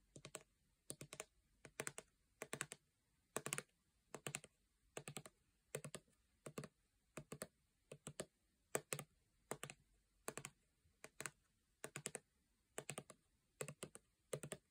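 Long painted nails tap on a full-looking 400 ml gold plastic body lotion bottle held upright. Quick bursts of crisp, clicky taps repeat in a steady rhythm, each tap bright and very short with almost no ring. The taps are quiet, with near silence between bursts.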